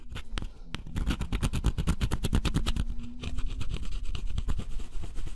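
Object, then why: Cardboard scratch-off puzzle with wooden stick. A pointed wooden stick scratches the black scratch-off coating from a cardboard jigsaw puzzle, revealing an orange picture underneath. It makes a rapid, uneven run of short, dry scraping strokes with bright, gritty edges. The strokes run almost without pause and hold a steady close-up level throughout.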